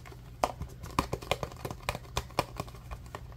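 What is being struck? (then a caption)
Plastic food storage container. Fingertips and nails tap and scratch a small, rectangular, translucent green plastic food storage container that is hollow and apparently empty, held in both hands. An irregular run of sharp, short, hollow plastic clicks rings around 700 Hz with bright edges. Quieter scratchy patter fills the gaps over a steady low hum.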